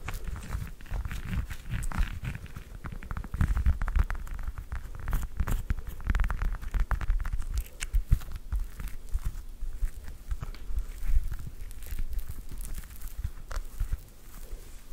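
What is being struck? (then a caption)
Whole fresh orange, peel. A whole fresh orange, held close to the microphone, is tapped and scratched with long nails. Dense, rapid taps and crackly scraping blend into a steady, low, thumpy patter that continues throughout.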